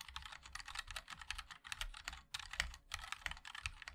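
A MOD-L 60% mechanical keyboard with a black aluminium case, white and black ABS keycaps and linear switches is typed on continuously with the fingertips of both hands. The result is a quick, steady stream of crisp, bright clacks with very short decay, each tap carrying a faint low thump underneath.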